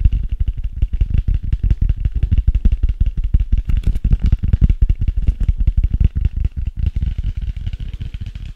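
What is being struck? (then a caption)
Hardcover notebook with cardboard cover. Fingertips and nails tap and scratch the printed cardboard cover of a closed, solid hardcover notebook. The result is a rapid, steady stream of dull, low thuds with very short decay that continues for about eight seconds and fades slightly at the end.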